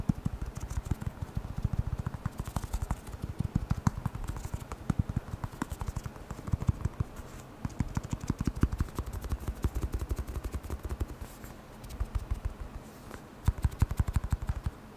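A small black hollow rubber air blower bulb with a blue nozzle is tapped quickly with the fingertips. The result is a steady stream of soft, dull, low thumps with almost no ring, coming in fast, uneven bursts with brief pauses between them.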